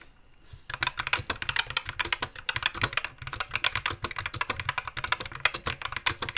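Both hands type with their fingertips on a compact white 60% SK61 mechanical keyboard with Gateron black switches, plastic keycaps and a blue-green backlight, resting on a wooden desk. After a brief quiet start, dozens of rapid, bright, crisp key-press taps follow in quick succession, each dying away almost instantly with a light low thump beneath.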